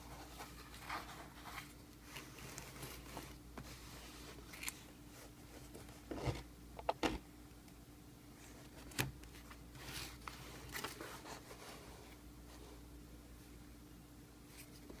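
A flat, closed, hollow corrugated cardboard shipping box with a paper label is held in both hands and turned over while fingertips handle it and tap on its top and sides. Soft rustling and scraping of the cardboard mix with light, dull taps, with a few sharper knocks near the middle. A faint steady low hum runs underneath throughout.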